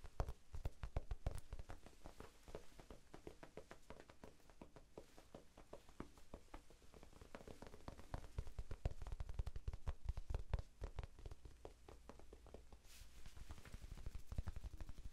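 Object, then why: Foam sponge. Fingertips tap quickly on a small, soft, solid rectangular pink foam sponge held in both hands. The result is a steady stream of rapid, uneven, dull thuds that are deep and muffled, with no ring after each tap. The tapping swells louder for a stretch in the middle before settling back down.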